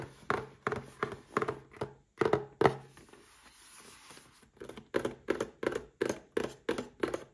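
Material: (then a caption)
Cardboard. A small red cardboard gift box holding a Paladone Mario Kart glass is held in one hand and tapped with the fingertips of the other, producing a steady series of short, hollow, dull thuds. The taps fall in two runs separated by a few seconds of soft, quiet rustling, and each thud dies away almost immediately.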